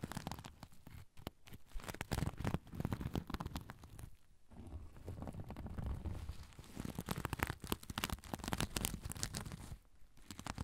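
A soft zipper pouch covered in sequins is held near the recorder while fingers and nails scratch and flip the sequins. The result is a dense, continuous crackling and scratching with a heavy, boomy low end from the close handling. Brief quiet gaps fall around 1, 4.5 and 10 seconds.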